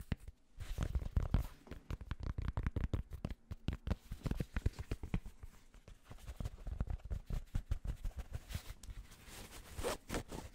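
Fingertips rapidly tap and scratch the fabric front panel of an empty, hollow, light grey Penn State Nittany Lions baseball cap with a mesh back. The result is a dense run of soft, muffled low thumps with brief rustling scratches between them, each tap dying away almost instantly.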